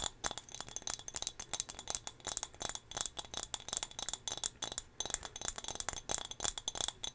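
A small, solid turquoise glass whale figurine is held close to the microphone and tapped with long fingernails. It produces a quick, steady run of sharp, bright clicks and clinks with almost no ring and little low end.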